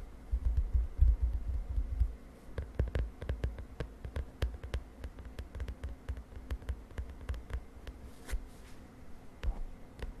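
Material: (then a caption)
Plastic. Long fingernails on both hands tap rapidly and unevenly on the lilac plastic cover of a spiral notebook, making quick, short clicks over a low, steady hum. The tapping is heaviest and most thumping in the first two seconds, then continues as lighter, scattered taps with brief pauses.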